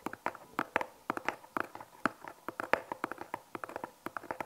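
A small, hollow brown cardboard product box, its contents unseen, is held in both hands and tapped with long painted fingernails. A rapid, uneven series of about 29 short, dry, clicky taps is heard, each with a hollow midrange knock near 530 Hz and a sharp bright tick. There is almost no low end, and each tap dies away almost instantly.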